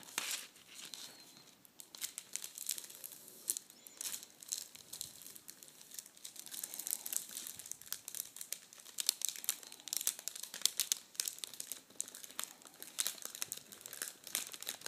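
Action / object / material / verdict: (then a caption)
scrape / metallic foil tissue paper / metallic foil / none. A spread sheet of red metallic foil tissue paper is scratched and gathered by fingers and nails, giving a steady stream of bright, crisp crinkles. Dense, sharp rustles and snaps run throughout, with almost no low end.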